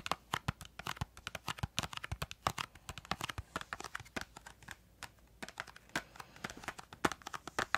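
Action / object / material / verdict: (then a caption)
tap / small cardboard crayon box / cardboard / none. Long acrylic nails tap rapidly on a small, hollow, printed yellow-green cardboard crayon box held upright. The result is a quiet, uneven stream of sharp, dry clicks with crisp high edges and almost no ring, like crinkling or light typing. Brief pauses break up the taps.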